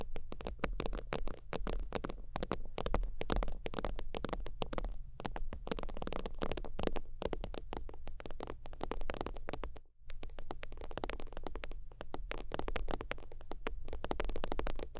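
Long teal nails tap and scratch quickly across the surface of a holographic faux-leather zip wallet lying flat. The result is a dense, continuous patter of short, dry clicks and scrapes over a steady low hum, with a brief silence near the ten-second mark before the tapping resumes.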